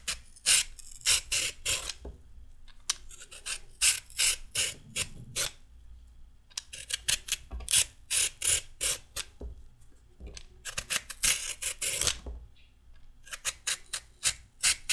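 A solid raw carrot is scraped downward with a metal peeler in rapid strokes, giving a run of short, dry, bright rasping scrapes. The strokes come in quick bursts separated by brief pauses, each scrape dying away almost at once, with little low-end weight.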